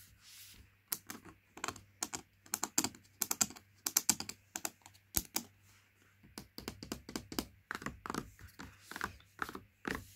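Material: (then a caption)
Cardboard. Nails and fingertips tap on a laminated cardboard Princes juice carton, making quick, dry, bright clicks in irregular bursts with short pauses between. Each tap is sharp and dies away almost at once over a faint low steady hum.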